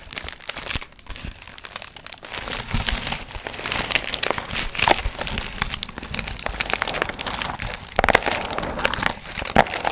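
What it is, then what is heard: Foil-fringe paper pumpkin piñata being crinkled. Long nails scratch and crinkle the gold foil fringe of a medium hollow paper pumpkin piñata held in both hands. The result is a dense, continuous crackling and crinkling with bright, high rustle and quick scratchy bursts throughout.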